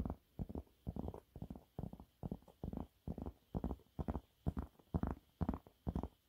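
Fingernails on both hands scratch quickly at a yellow waffle-textured cleaning cloth held upright. The result is a rapid, uneven series of short, dull scratching bursts, mostly low and muffled, separated by brief near-silent gaps.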